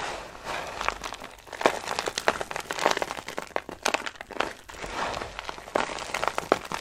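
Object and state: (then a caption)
Dry soap shavings being crushed. Handfuls of dry green soap shavings are crushed and crumbled onto a pile, producing dense, dry crinkling and crunching with sharp crackly bursts. The brittle flakes give short, bright snaps that die out almost instantly over a soft rustling bed, coming in uneven waves as each handful is squeezed.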